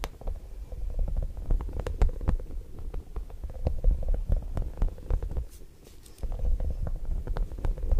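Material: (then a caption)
Rubber. A small, soft and squishy yellow spiky rubber or silicone puffer ball is squeezed and rubbed with the fingertips of one hand beside the microphone while the other hand rests on the lap. Dense, irregular low squishing and rubbery crackles with quick sharp clicks fill the clip, easing into a quieter stretch around the sixth second before picking up again.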